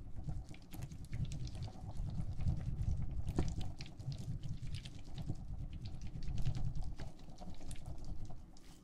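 A clear plastic tumbler filled with teal gel water beads is held upright, then shaken and rotated in the hand. The result is a continuous soft, wet, low squishing and sloshing patter, dotted with brief bright clicks as the beads shift against the plastic.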